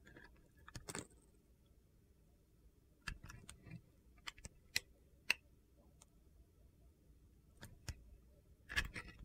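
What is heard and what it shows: A small, solid pale blue Coast soap bar with a black glitter coating is held in the hand while a utility knife blade shaves and carves the coating. Short, sharp scrapes and ticks come in irregular bursts over a quiet background. Crisp, high-pitched crunching clicks stand out between them.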